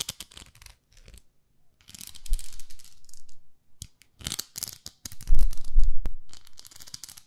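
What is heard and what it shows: Long nails scratch and tap a pink plastic facial cleansing brush, a plastic pad with a handle. Irregular bursts of bright, crisp scratching alternate with short pauses, and a few louder, duller taps stand out near the end.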